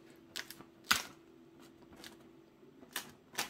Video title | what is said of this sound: Excellente recette de pains croustillants ✔ (recette économique) ✔ | Vous entendez, hein, c'est hyper croustillant.